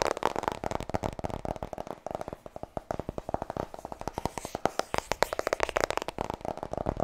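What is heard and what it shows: Long nails tap quickly on the front cover of a white softcover "Vertrouw me" paperback book. The result is a dense, rapid run of short, dry clicks with a hollow midrange tone around 590 Hz. Each tap dies away almost instantly.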